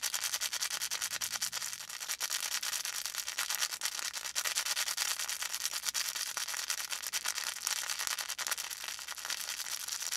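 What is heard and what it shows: A felt volcano plush with a faux fur top is held in both hands while fingertips rub and scratch its felt surface. The result is a steady, dense, bright scratching hiss made of rapid tiny strokes with almost no low end, and a slight dip in loudness near the two-second mark.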